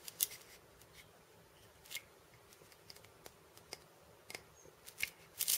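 Painted fingernails tap and scratch the steel bead chains on the wooden cylinder of a cabasa. Quiet, scattered, bright clicks and brief rattling scrapes sound over a near-silent background, ending in a louder cluster of rattles.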